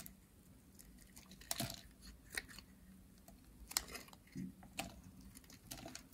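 A metal utility blade shaves flakes off a pink, dry, solid bar of soap with a ridged edge. A series of short, bright, crisp scraping crunches rises over a quiet, steady low hum, and each cut ends quickly with almost no ring.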